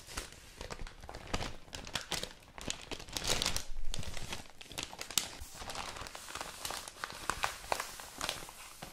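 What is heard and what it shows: Thin newsprint newspaper pages are opened, folded and crinkled by hands. Dense, papery crackles and rustles of irregular loudness run throughout, with bright crisp snaps riding over a soft low rumble.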